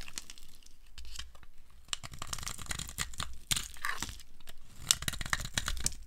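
A steel blade scrapes curls off a solid, dry, rectangular green soap bar with a red edge, held in the hand. A rapid series of short, dry, crunchy scrapes and crackles, bright and crisp with a low rumble beneath, carries on steadily throughout.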